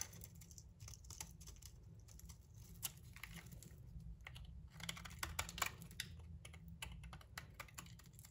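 A metal utility knife blade shaves curls from a solid olive green soap bar with its bronze coating partly removed, held in the hand. Quick, crisp scraping ticks and clicks come in a rapid, uneven stream, bright and dry with almost no ring, over a steady low hum.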